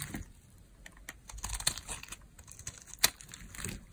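A metal blade shaves thin, crunchy layers off a very dry, old, pale green solid soap bar held in the hand while the fingers press the bar. Irregular, dry, bright crackling scrapes and crisp clicks follow one another, with the sharpest crunch near the three-second mark.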